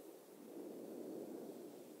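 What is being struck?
Nothing is struck.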